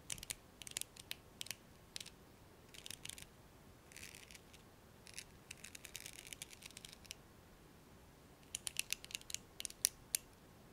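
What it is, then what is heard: Plastic hairbrush bristles. A thumbnail flicks and plucks the black plastic pins of a blue hairbrush held upright. It makes quiet, bright, dry clicks and ticks in scattered bursts and quick runs, each dying away almost instantly with little low end.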